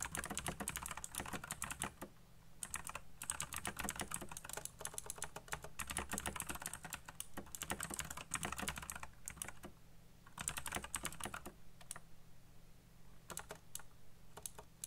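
Fingertips type rapidly on the keycaps of a black plastic RGB mechanical keyboard, producing dense bursts of sharp, bright clicks and clacks with short pauses around 2, 3 and 10 seconds. The keystrokes thin out to scattered taps after about 11.5 seconds, over a steady low hum.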